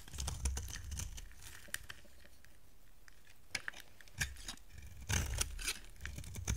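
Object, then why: Bar of soap cut with a knife blade. A utility knife blade carves a solid white soap bar, now smaller, shaving off dry, crumbly flakes. Bursts of crisp scraping and crumbling alternate with quieter stretches, with sharp clicks, bright hiss and soft low thuds.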